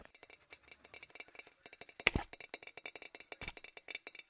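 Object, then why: Glass object. A glass object is tapped rapidly about 25 times, making quick, bright clinks with a main tone near 2 kHz. Each tap dies away almost at once, and one louder knock lands near the middle of the run.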